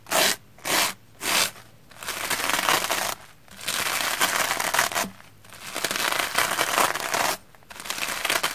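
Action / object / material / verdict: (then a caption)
scrape / soapy plastic foam sponge brushed with a bristle brush / plastic foam / none. A round black-bristle hair brush with a wooden handle is scrubbed across a soapy red porous plastic foam sponge block. Three short, bright, scratchy strokes come first, each separated by a brief pause. They are followed by longer, steady passages of crackly, hissing brushing with occasional short breaks.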